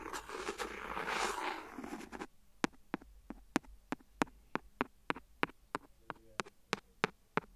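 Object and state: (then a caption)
Clear silicone phone case tapped with a plastic pen. The end of a clear plastic pen scratches along the rim of an empty, hollow, thin clear silicone phone case lying flat on the recorder, making a bright, hissy scraping for about two seconds. The pen then taps the rim in a steady series of about sixteen short, dry clicks with almost no ring.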